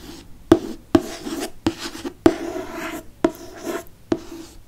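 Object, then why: Hardcover book with cardboard cover. Fingernails scratch and trace the glossy cardboard cover of a hardcover Harry Potter book with a flying car on the front. Six sharp, short taps with a dull mid-pitched knock stand out over a soft, continuous rasping scratch between them.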